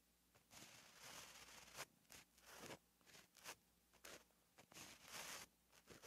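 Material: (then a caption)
Paper. A gel pen held at the fingertips writes letters on a flat, lined paper notebook page. Its tip scratches across the paper in short, bright, papery strokes separated by brief pauses.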